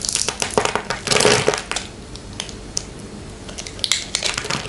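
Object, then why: Bar of soap. A small metal blade cuts a palm-sized solid white soap bar into cubes, held in a hand with long painted nails. A dense burst of crisp, bright crunching fills the first second and a half, then quieter scraping follows with occasional sharp crunches. The sound is dry, with little low end and no ring after each cut.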